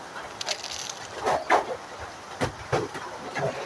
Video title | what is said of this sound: ফুচকা খেতে খুব ইচ্ছা করছিলো। | কতটা মচমচে শব্দে বুঝতে পারছেন দেখেছেন একদম গুঁড়ো গুঁড়ো হয়ে গেছে অনেক মচমচে হয়েছে